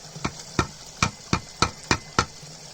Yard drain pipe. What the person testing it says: if you tap on it, you can hear it. Yeah, there's definitely a pipe going down into the ground there.